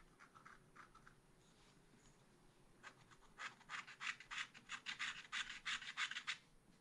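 A long wooden stylus scratches across the lower part of a thin, black-coated scratch-art card held in a spiral pad. A few faint, soft strokes come first, then a quicker run of louder, bright, dry scraping strokes. The strokes come at a fairly steady rhythm before trailing off.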